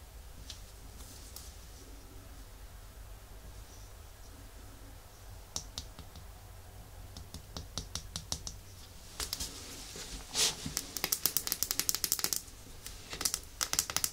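Long nails tap and scratch the white plastic cap top, the label and the glass of a small, full red glass nail polish bottle while turning it. Soft scratching fills the first few seconds, then sharp, bright clicks and taps grow denser and louder toward the end over a faint low hum.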